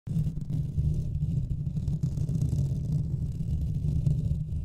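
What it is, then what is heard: Metal mesh microphone grille being scratched. Both hands scratch the top of the hollow metal mesh grille on a Blue Yeti USB microphone's metal body with fingertips and nails throughout. The result is a continuous, dense, low rumbling scrape with a steady hum-like tone, almost all of it deep and muffled with no bright content.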